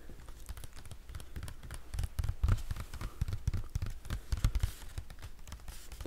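A solid hardcover Harry Potter book wrapped in a clear plastic library dust-jacket cover is held close to the mic while fingertips and nails tap and scratch its crinkly plastic-covered surface. The result is a rapid, irregular run of short, dull low thumps with very little ring, mixed with faint crinkly scratching.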